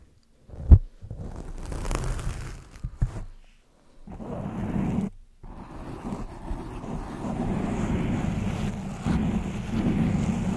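Long acrylic nails and fingertips scratch and rub a black, fist-sized, soft and porous foam windscreen covering a microphone. It produces a close, muffled, low rumbling and scuffing, with a sharp thump near the start, a few short gaps, then steady dense rubbing to the end.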